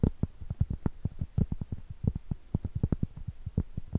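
Long acrylic nails tap and scratch the top edge and surface of a round, solid cork trivet held edge-on. The result is a quick, uneven run of about 27 soft, dull, low-pitched taps with a faint scratchy texture. Each tap dies away almost instantly, with no ring.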